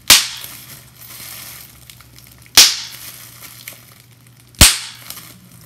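A clear plastic bubble wrap sheet has its bubbles pinched and popped with fingers and nails, giving three sharp, bright pops spaced a couple of seconds apart. Each pop dies away quickly, and faint plastic crinkles and ticks fill the quiet between them.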